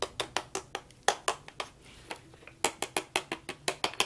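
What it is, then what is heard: Plastic toy horse. A hand-sized hollow plastic toy horse on wheels, with a green head, orange body and blue wheels, is held in gloved hands and tapped and knocked with a toy plastic hammer, then worked with a plastic toy tool on its body and screws. About twenty quick, hollow, bright plastic clicks and knocks come at an uneven pace, each dying away almost instantly, with a short quieter stretch in the middle.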